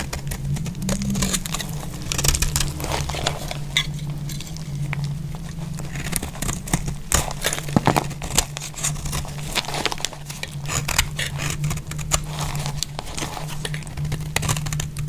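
A metal utility blade scrapes and shaves flakes off a solid bar of dry green soap held in a hand with glittery nails. Dense, dry crackling and crisp scraping clicks run throughout, bright at the top, over a steady low hum.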